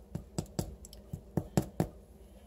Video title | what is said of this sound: Dec. 17 Ebony, Ivy & Thyme in the Kitchen | listen to it hear the hollow sound